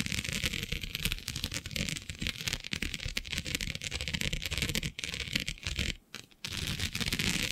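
Long nails scratch across the grid of a flat black iridescent plastic diamond mesh sheet, producing a continuous dense, bright rasping with rapid ticking texture and a low rumbling undertone. The scratching runs steadily, dips briefly near the end, then resumes.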